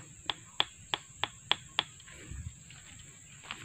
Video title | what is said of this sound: MEMILIH BATANG KAYU UNTUK PERBAIKAN JEMBATAN BU NELY DAN PAK UDIN | kalau suaranya padat bisa itu sangat kuat